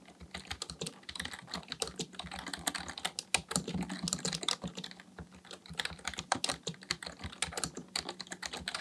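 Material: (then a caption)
Plastic. Both hands' fingertips type continuously on a black plastic full-size Dell KB1421 membrane keyboard with a hollow housing, resting on a desk. A steady stream of rapid, dry key taps and presses sounds bright and clacky, with soft low thumps beneath. Each stroke dies away almost instantly.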